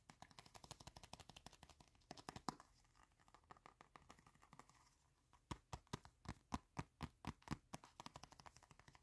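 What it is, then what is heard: Leather wallet. Fingertips and short nails tap and scratch quickly on the surface of a small, folded, reddish-brown leather wallet that is solid and flat and held close. Dense, dry taps at about four per second give way to a quieter scratching stretch in the middle. Sharper, louder taps follow through to the end.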